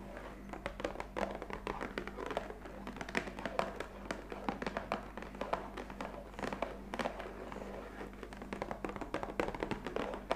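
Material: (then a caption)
Cardboard. Long fingernail tips tap rapidly on the top face of a black printed cardboard coffee capsule box lying flat, hollow and likely filled with capsules. The result is a dense run of short, dry, hollow clicks and light thunks centered in the midrange that die away almost at once, over a faint steady low hum.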